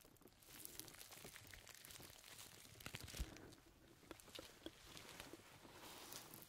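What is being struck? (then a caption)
Perforated leather gloves. Red perforated leather gloves worn on both hands have their fingers rubbed, stretched and squeezed against each other. The result is a quiet, continuous stretch of rubbing and creaking leather with crinkly, bright texture and scattered sharp ticks that die away almost instantly, the loudest near the middle of the clip.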